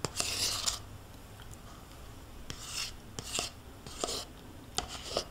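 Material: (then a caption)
Plastic. A metal spoon scrapes the inside walls and bottom of a small, thin-walled plastic yogurt cup that is nearly empty with yogurt residue and held tilted in one hand. Bright, rasping scrape strokes come in separate bursts, punctuated by sharp, quick ticks as the spoon catches the plastic, with quiet pauses between them.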